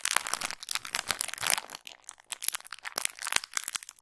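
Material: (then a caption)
Plastic. A small clear plastic retail bag with a pink cardboard header card and a makeup sponge inside is held in both hands and crinkled and squeezed with long pink nails. It gives dense, bright crinkles and sharp crackles with almost no low end and no ring, easing briefly near the middle before crinkling again.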